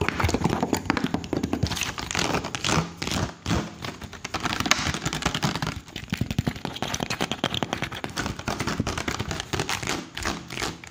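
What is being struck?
Plastic water bottle.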